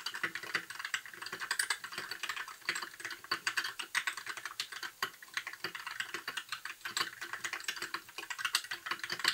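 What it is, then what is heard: Plastic mechanical keyboard. Fingertips of both hands type continuously on a compact white 60% mechanical keyboard with plastic keycaps and RGB backlight. Rapid, uneven streams of short, dry clacks fill the clip, bright and mid-pitched with almost no low end, each keystroke dying away almost instantly.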